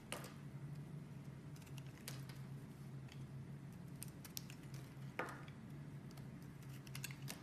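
A metal blade scrapes and slices pieces off a partly carved blue and white striped bar of soap held by fingers with long red nails. Quiet, crisp scraping and sharp cutting clicks, a few brighter snaps standing out, play over a steady low hum.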